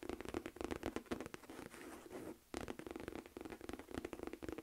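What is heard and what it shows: Long nails tap and scratch the flap and body of a medium-size, hollow, beige smooth-leather Michael Kors envelope-flap clutch. Quick, soft clicky taps give way to a stretch of steady scratching, then a brief pause before the tapping picks up again.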